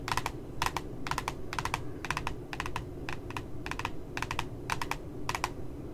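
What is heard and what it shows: Fingernails tap at the bottom edge of a glossy cardboard puppy notebook cover in quick clustered bursts. Each burst is a flurry of short, crisp clicks with a light papery ring around 1 kHz and bright edges, and they decay almost instantly. A steady low rumble sits underneath throughout.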